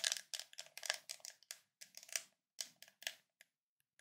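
A white ridged plastic screw lid on a full glass Nutella jar is scratched around its ridged rim by short nails and fingertips. The result is a run of quick, dry, bright scraping bursts that stop dead with almost no ring, trailing off into a few faint ticks.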